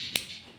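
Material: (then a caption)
Aluminum. An aluminum span adjuster on a motorcycle lever being fitted to a Ducati Monster 821 is clicked into engagement, giving a single sharp, bright snap that dies away almost instantly. The crisp snap shows the adjuster engages solidly.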